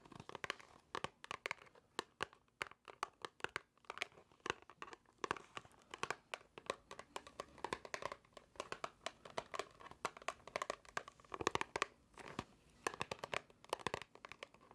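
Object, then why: Small cardboard box. Long nails tap quickly and irregularly on a small, hollow white cardboard box held close to the microphone. The taps are sharp, dry clicks that die away instantly, with a papery crinkle between them.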